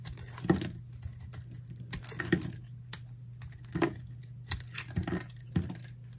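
A solid, dry beige bar of soap is held in the hand and sliced with a metal utility knife into thick curled shavings. Each cut gives a short, crisp scraping crackle that fades quickly, spaced irregularly over a steady low hum.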